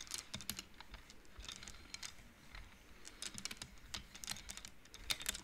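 Long nails and fingertips push the painted wooden beads of an upright wooden-frame abacus so they knock together. The result is a quiet, uneven run of quick, dry, bright clicks that die away almost instantly, with soft faint lower rustling between them.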